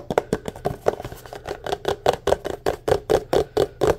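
A tall, empty, hollow white paper cup is held in the hand while fingertips and nails quickly tap and scratch its sides. About 21 fast, dry, hollow taps sit around a mid pitch near 500 Hz, with faint scratching between them. Each tap dies away almost instantly.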